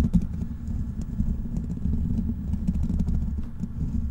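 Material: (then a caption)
Metal mesh. Fingertips of both hands scratch and tap the hollow black metal mesh grille of a large desktop microphone. A steady, dense rumble of scratching comes through, heavy in the low end and muffled, with soft taps poking out now and then.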